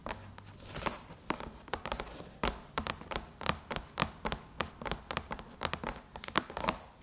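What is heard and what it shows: Long chrome nails scratch and tap across the surface of a closed silver aluminum MacBook lid, around the logo. A quick series of sharp, bright clicks and taps with short metallic scrapes between them comes in uneven bursts, each tap cut off almost at once.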